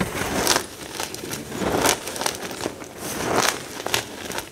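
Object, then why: Pile of crumbled gym chalk chunks. Both hands scoop, squeeze and crush a dry heap of crumbled pale green-white gym chalk chunks with their fingertips. Dry, crisp crunching and bright crackling come in swelling bursts, with little low end. The pieces grind and break apart between the fingers.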